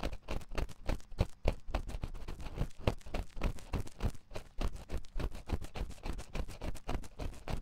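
A wooden ear pick scratches inside the ear canal of a white silicone ear on a 3Dio binaural microphone. The result is a dense, uneven stream of short, dry scraping strokes, about 100 a minute. The sound is heavy in the low end, rumbling and close, with almost no high content and no ring after each stroke.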